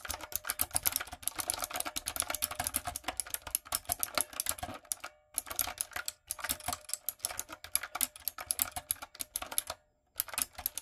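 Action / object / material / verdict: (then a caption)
tap / plastic mechanical keyboard with round keycaps / plastic / none. Fingertips and long acrylic nails type on a backlit, typewriter-style plastic mechanical keyboard with round plastic keycaps. Rapid, bright, clacky keystrokes with very short decay stream steadily, broken by two brief pauses around the fifth and tenth seconds.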